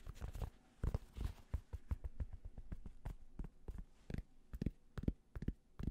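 Fingertips tap quickly on the hollow crown of a grey cotton Penn State baseball cap. The taps come as dull, muffled thumps in uneven bursts, with faint fabric rustle between them. Each tap dies away almost at once.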